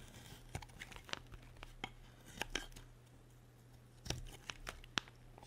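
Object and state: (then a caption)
Dry bar soap being cut. A solid, dry white soap bar held in a hand with long red nails is carved with a metal utility blade. It gives a series of short, crisp scraping and cutting snaps with bright crackle, separated by quieter stretches over a steady low hum. The clicks are sharp and dry, with almost no ring.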